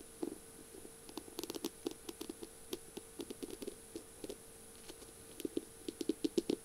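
Long purple nails tap quickly on the slim barrel of a feather pen decorated with beads and mirror tiles. The result is bursts of light, dry clicks with a short, faintly pitched ring, separated by brief pauses, over a faint steady high hiss.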